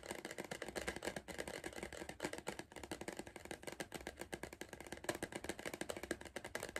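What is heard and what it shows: Fingertips drum rapidly on the side wall of a hollow, upright Pringles cardboard crisp tube. The soft, quick tapping makes a dense run of short, dry knocks with a hollow, papery tone centered in the low-mids. Each tap dies away almost at once.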